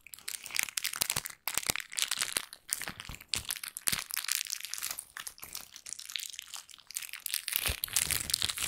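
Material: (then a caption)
Plastic. A thin pink plastic bag is held in both hands and crumpled and crinkled with the fingers. Dense, bright crackling and crinkling runs almost continuously, with sharp snaps and almost no low end, pausing only briefly near the 1.5-second mark.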